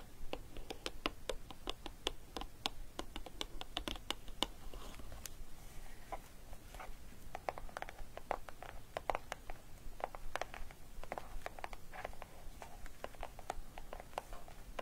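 Long painted nails and fingertips tap and scratch the lid top of a small, closed, hollow green cardboard gift box decorated with a paper orchid. Quick, dry, clicky taps come in an uneven stream with brief scratchy strokes between them, each stopping almost instantly over a soft, low background hum.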